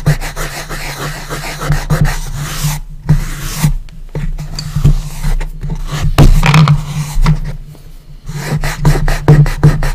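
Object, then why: Wooden box lid. Fingertips rub and brush across the flat, bare surface of a light wooden coffin-shaped box lid. The result is a steady run of soft, dry scraping strokes with a low, heavy body and faint bright hiss, rising and falling with each pass and briefly dropping almost to silence between a few strokes.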